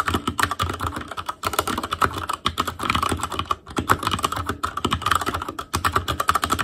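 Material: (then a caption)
Plastic. A full-size black ASUS ROG Claymore Core keyboard with plastic keycaps over Cherry MX Red switches, RGB backlight and a hollow plastic/metal case is typed on continuously with the fingertips of both hands. It produces a rapid, steady stream of short, dry plastic clacks with a resonant tone around 1.3 kHz and a low thock underneath, broken by brief pauses.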